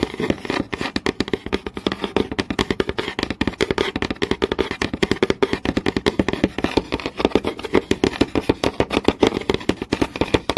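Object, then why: Wooden board. A long nail taps and scratches rapidly across a flat, solid wooden board with visible grain. Some 78 quick, dry clicks run steadily over about ten seconds, each dying away almost instantly, with a woody midrange body near 390 Hz and a faint scratchy rasp between the taps.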